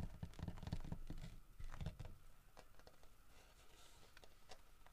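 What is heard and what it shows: Fingertips tap and scratch across the textured carved back and head of a large, solid carved wooden bear figurine. The result is a quiet patter of short, dull knocks with a low thump, mixed with soft rough scratching. The tapping is dense in the first two seconds, then thins to lighter, sparser taps and scratches.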